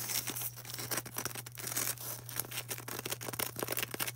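Long orange nails quickly scratch and tap a solid white polystyrene foam ball, making a dense, bright, crackly scratching broken by rapid dry taps. A steady low hum runs underneath throughout.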